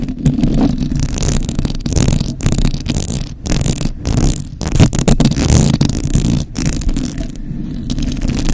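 Long acrylic nail tips scratch and tap across a hollow metal mesh microphone grille, producing a dense, close-up rustling scrape with a heavy low-end rumble and little high brightness. The scratching runs almost continuously, broken by a few brief dips and short, quickly fading taps.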